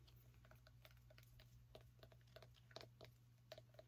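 Long nails tap and scratch the rind and dry woody stem of a small whole orange pumpkin held in the hand. Crisp, clicky taps with a mid-pitched ring repeat quickly over a low, steady hum. The taps stay quiet and close-up, each dying away in a fraction of a second.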